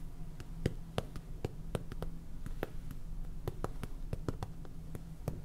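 Fingernails tap and scratch on a small clear plastic jar full of white salt with a purple lid. The result is a run of quick, dry clicks that die away almost instantly, some with a brief bright tick, over a steady low hum.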